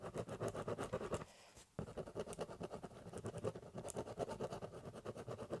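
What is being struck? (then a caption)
Corrugated cardboard box scratched with a ballpoint pen. A ballpoint pen scratches rapidly back and forth across a large, empty, hollow corrugated cardboard box, cross-hatching in quick, rhythmic strokes. The dry, papery scratching pauses briefly after about a second, then resumes at the same brisk pace to the end.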